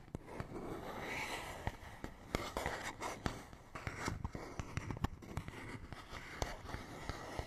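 A fingernail scratches and taps across a small, hollow, printed paperboard box. The result is quiet, dry, rustling scratches broken by many short, sharp clicks with no ring, carrying a low, hollow body and a little bright hiss.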